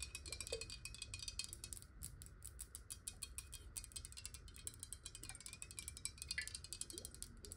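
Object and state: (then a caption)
Glass water bottle. Long nails tap and scratch rapidly on a clear glass bottle with water inside, held sideways, including its base. Quick, bright clicks come in a steady, dense stream over a soft low rumble, each briefly ringing with a glassy tone near 2 kHz.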